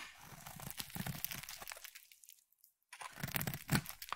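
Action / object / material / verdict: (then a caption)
scrape / bar of soap / soap / none. A solid purple bar of soap is scraped and cut with a metal utility knife blade, shaving thin curls off the bar. Dense, crisp crunching and crinkling scrapes come in quick, uneven strokes, drop to near silence for about a second, then resume with sharper, brighter cuts.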